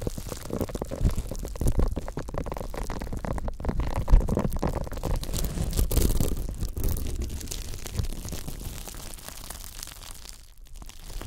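Fingertips scratch and brush across the bristle ridge of a thin, flexible pink silicone scrubber pad. The result is a dense, continuous rustling scrape made of rapid tiny strokes, heavy in the lows and muffled, softening toward the end.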